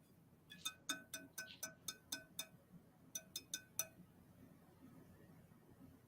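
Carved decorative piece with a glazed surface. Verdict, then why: Fake. An 18-inch carved decorative piece made to look like hard wood is tapped 13 times in two quick runs. Each tap gives a bright, ringing clink with high overtones rather than a dull knock. The sound shows it is not wood but a glazed faux-wood carving.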